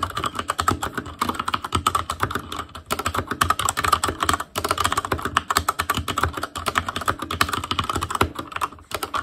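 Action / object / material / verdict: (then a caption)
tap / mechanical keyboard with plastic keycaps / plastic / none. Fingertips of both hands type rapidly on a full-size ASUS ROG Claymore Core keyboard with plastic keycaps on Cherry MX Red switches, a metal plate, a hollow case and RGB backlight. A steady stream of short, dry clacks with a midrange peak around 1.2 kHz and a slight hollow ring runs on for over nine seconds. Brief pauses break it near the three- and four-and-a-half-second marks.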